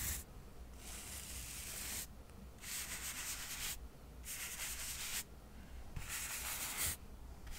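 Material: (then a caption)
Cork. A soft paintbrush is swept over the edges and face of a small, solid stack of square cork coasters. It makes dry, airy brushing strokes with a bright hiss, coming in repeated bursts separated by short quieter pauses, over a faint low background hum.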